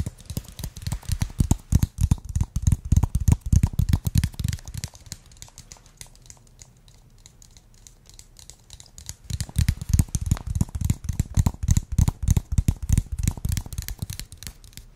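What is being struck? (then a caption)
Small plastic jar with lid. A small clear plastic jar with a yellow lid, filled with green contents, is held and tapped and scratched with nails and fingertips. Dense, irregular clusters of dry tapping and crinkly scratching run for several seconds, fall to a quiet, faint rustle in the middle, then pick up again. The hits are short and dull with a low body and a bright clicky edge.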